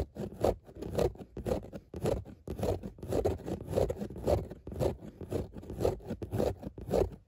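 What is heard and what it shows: Long nails scratch back and forth across a padded grey fabric car seat with a raised dot pattern. The result is a steady run of dry, rasping strokes, each building and fading in a loose rhythm.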